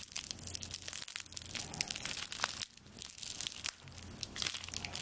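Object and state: Straw broom bundle scratched and squeezed.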